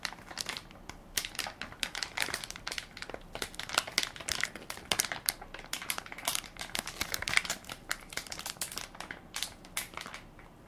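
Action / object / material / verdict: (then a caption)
scrape / plastic film wipes pack / plastic film / none. A hand-sized Equate baby wipes soft pack made of crinkly plastic film and full of wipes is held in one palm while fingertips and nails press and crinkle the film. The result is a dense, steady stream of bright, crisp crackles and rustles with very little low end, each snap dying away almost instantly.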